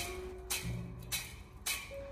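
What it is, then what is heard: Crisp, dry roasted peanuts. Salt-roasted five-spice peanuts, roasted golden with the salt sieved out, give three crisp, dry rattling bursts of sound. Background music plays underneath. The sharp, bright crackle shows they are very crisp and dried through.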